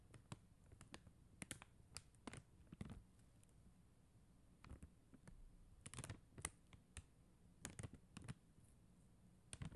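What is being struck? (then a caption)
Plastic gem sticker sheet. Long acrylic nail tips tap quickly across a flat sheet of faceted plastic rhinestone stickers. The result is a quiet, irregular run of short, dry clicks, each with a soft low thump and a bright ticking edge that dies away almost instantly, with brief pauses between bursts.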